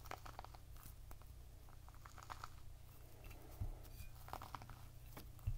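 A whole, full, fist-sized red pomegranate with a leathery rind is held in both hands, partly resting on a plate, and tapped and scratched with the fingertips and short nails. The result is quiet, irregular soft taps and dry crinkly scratching over a steady low rumble.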